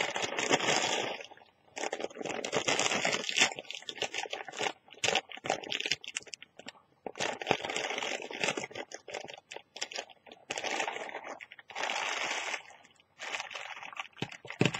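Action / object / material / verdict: scrape / thin plastic carrier bag / plastic / none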